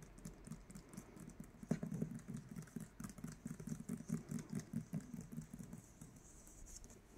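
Fingertips and nails tap and scratch across the glossy yellow paper dust jacket of a solid Fourth Wing hardcover book lying flat on a bed sheet. Quiet, dull, low-pitched taps come in an irregular, fast patter, with a faint papery scratching between them and a slightly louder cluster near the middle.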